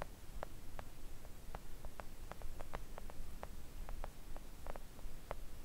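Long acrylic nails of both hands tap gently on a thin, solid, flat pink silicone nail art mat lying on a table. The taps come as soft, short, irregular clicks over a steady low rumble, each dying away almost at once.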